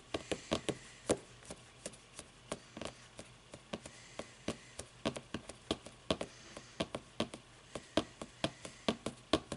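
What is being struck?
Book with paper pages and cover.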